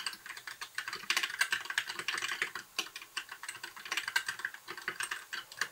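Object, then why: Plastic mechanical keyboard keys. Fingertips type continuously on a compact white backlit mechanical keyboard with plastic keycaps. Rapid, dense key clicks are heard: bright, short taps centered in the upper mids, with very little low end. The keystrokes are too tightly packed to count, with brief pauses between bursts.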